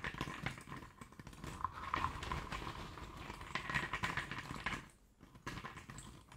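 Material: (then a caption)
Cardboard. Fingertips and nails stir and rake a pile of small, loose cardboard jigsaw puzzle pieces in a shallow tray, with some pieces picked up and dropped back onto the pile. The result is a dense, irregular rustle of light clicks and scratches, with a faint tonal edge near 1 kHz. The sound dips briefly quiet around the fifth second before the rustling resumes.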